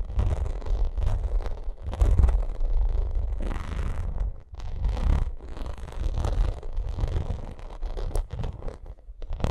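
A white pyramid-textured vinyl makeup bag is scratched and tapped with long acrylic nails. The result is a dense, continuous run of rough scratching with quick taps mixed in and a strong low rumble underneath. There is a brief lull just after the four-second mark.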